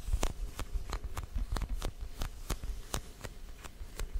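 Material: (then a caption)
Foam. Fingertips and short nails of both hands tap and scratch a small, solid orange foam pumpkin toy with a painted face. Soft, dull taps with brief bright scratchy edges fall at an uneven pace, each dying away almost instantly over a low, muffled rumble.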